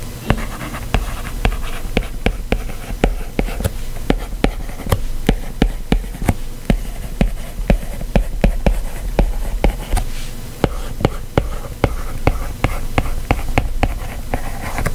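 The hard plastic tip of a white Apple Pencil taps and scratches across the solid glass touchscreen of a white iPad lying flat while text is handwritten in a drawing app. About 37 sharp, short clicks come in a steady run, with soft scratchy strokes between them over a low, dull background hum.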